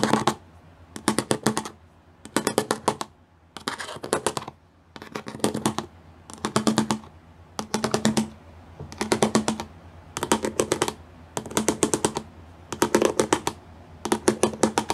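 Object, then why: Plastic panel with pyramid studs. Fingertips and painted nails tap fast across a flat grey plastic sheet covered in rows of small square pyramid studs, a solid surface. The tapping comes in about a dozen short, dense bursts of crisp, dry clicks, separated by brief pauses. Each click is bright and dies away almost instantly.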